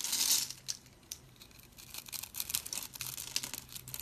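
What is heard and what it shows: A utility blade scrapes crunchy cubes off a scored, solid oval bar of dry white soap with colored speckles. The sound is a bright, crisp crunching and crackling that opens with a loud burst, dips to faint ticks, then builds back into dense crackles. It has almost no low end.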